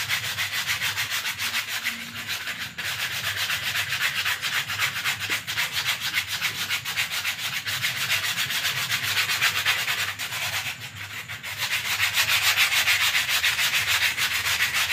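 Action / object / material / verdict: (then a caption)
scrape / thin paper sheet rolled into a tube / paper / none. A thin lavender paper sheet, rolled loosely into a tube and held in both hands, is rubbed and crumpled by fingers and palms. The result is a fast, steady, bright scratchy rustling that runs continuously, easing briefly near the end before picking back up.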